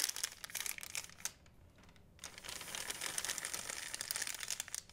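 An empty, thin white plastic Blick shopping bag is held up and crumpled and crinkled with the fingers, giving a dense, bright crackling. The crinkling drops to near silence for about a second, then resumes steadily until the end.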